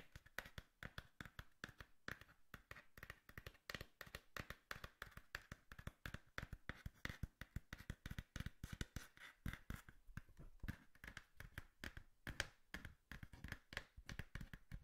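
Fingers tap and scratch on a cardboard box in quick, uneven runs of short, dull, thumpy taps. Each tap dies away almost at once, with a faint papery scratch between them.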